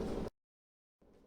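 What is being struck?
Nothing is struck.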